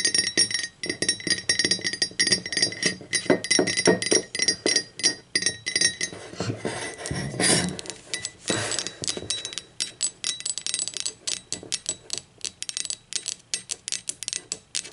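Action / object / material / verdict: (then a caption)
tap / ceramic mug / ceramic / none. Long acrylic nails tap and scratch the body and base of an empty blue speckled ceramic mug, which is then turned onto its side. Quick, bright clinks with very short ring come in rapid bursts, broken around the middle by a few rougher scratching sweeps. The taps then continue as crisp, evenly spaced clicks.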